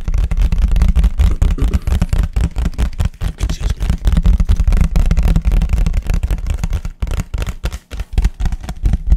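A large, thin, empty white disposable paper plate is tapped and scratched fast with fingertips and nails, first held flat and then upright. The sound is a rapid, irregular stream of dull, deep thumps with short scratchy bursts and almost no ring, and it stays fairly loud throughout.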